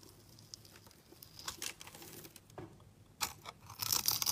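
A utility blade scrapes a solid translucent red glycerin soap bar held in the hand, shaving it into flakes. The result is a series of irregular, crisp, high-pitched scraping strokes with a crinkly, tearing texture, quiet at first and growing into a denser, brighter shaving sound at the end.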